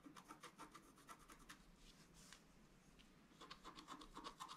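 A wooden stylus scratches the fountain's basin area into a flat, black-coated scratch-art paper card while the left hand is spread flat on the card. Quick bursts of dry, raspy scratching come in a fast, uneven rhythm, with a bright hiss over a steady tone near 1 kHz. The strokes ease and soften through the middle before picking up again toward the end.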